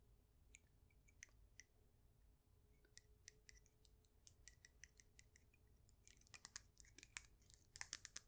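Long nails tap and scratch a solid, faceted polished stone polyhedron. Quiet, sharp, bright clicks sound sparsely at first, then come faster and denser. Each one is short and dry with almost no ring, over a faint low hum.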